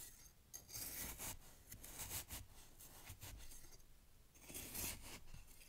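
A knife cuts and scrapes down through fresh snow packed in a glass jar, giving crisp, bright crunching in repeated bursts with low thuds underneath. The strokes come irregularly, with the loudest crunches near the start and again toward the end.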